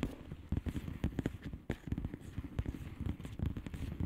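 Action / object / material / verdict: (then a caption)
tap / plastic bubble wrap envelope / plastic / none. Long manicured nails on both hands tap rapidly on a flat padded mailer with a plastic bubble wrap surface of hollow air bubbles. The result is a dense, continuous patter of soft, muffled, low-pitched ticks with almost no bright content and very short decay.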